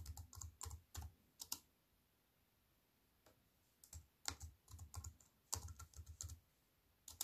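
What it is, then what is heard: Aluminium-framed keyboard with plastic keys being typed on. Fingertips with long white nails type on an aluminium-framed wireless keyboard with black plastic keys. Quick bursts of keystrokes give short clicks, each with a low thud and a bright high tick that dies away almost at once. A burst of typing is followed by a near-silent pause, then a longer run of keystrokes and one last tap at the end.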